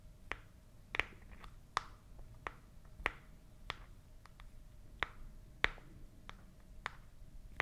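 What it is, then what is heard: Cardboard box tapped with nails. A small, hollow white printed cardboard product box is held near the mouth and tapped and scratched with long nails. Sharp, dry, bright taps land at an irregular pace, each dying away almost instantly, with faint scratchy rustle between them. The level stays quiet overall, and a soft, steady tone runs underneath.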